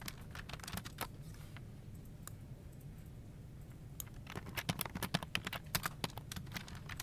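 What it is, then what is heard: Plastic computer keyboard. Both hands type with their fingertips on a full-size plastic office keyboard on a desk, its hollow plastic case and key switches giving rapid, short key-press taps. The typing pauses for about two seconds in the middle, then resumes louder and busier. A steady low hum from a desk fan in the background runs underneath throughout.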